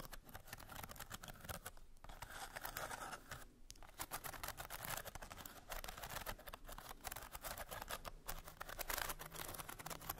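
Long nails tap and scratch across the ridged, painted bamboo slats of a small hollow trinket box with a curved lid and a bead clasp. The result is a quiet, dense stream of rapid dry clicks and raspy scratches with a bright edge, broken by brief pauses near 2 and 3.5 seconds.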